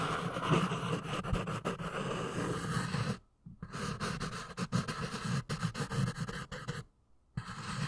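A pink pencil tip scratches and writes quickly across the lined page of a small paper notepad with a red cover, held in one hand. The scratching is dense and broadband, with a low, rough body and faint bright edges, and many short strokes run together. It stops in two brief silent pauses before resuming.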